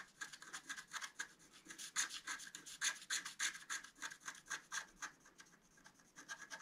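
A flat black-coated scratch-art card, about A4 and lying on a table, is scratched continuously with a pointed wooden stylus held in the fingers, exposing a metallic rainbow layer underneath. The result is a quiet, dry, bright scratching made of quick, uneven strokes with a high hiss and almost no low end.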